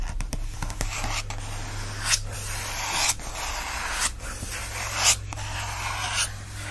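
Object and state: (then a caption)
Paper book endpaper scratched. Fingertips and nails scratch and rub the patterned paper endpapers of an open book. A bright, dry rasping hiss continues throughout, swelling into sharper scrapes roughly once a second over a steady low hum.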